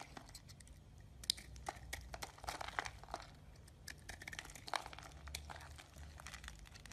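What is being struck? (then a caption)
Bar of soap. A utility knife scrapes and chips the surface of a solid light green soap bar held in the palm, breaking off crumbly shavings. Quick, dry, crunchy scrapes and crackles come in a steady stream of short, bright bursts over a faint low hum.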